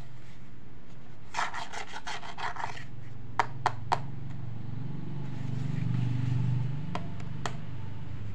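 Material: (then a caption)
Plastic. Fingertips and thumbs rub and scratch the textured, quilted surface of a small hollow pink plastic toy handbag with a beaded handle, held in both hands. A quick run of rapid scratchy strokes comes first, then three sharp clicks, and a few more faint clicks later. A low rumbling hum sits underneath throughout.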